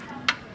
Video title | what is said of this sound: BAGONG TUKLAS SECONDHAND BISIKLETA PERO HIGH-END - SECONDHAND HIGH END BICYCLE - MTB GRAVEL RB | ang tunog niya parang makapal na carbon, no? Makapal na Iba-iba yung tunog sa mga manipis, Parang ampaw, di ba?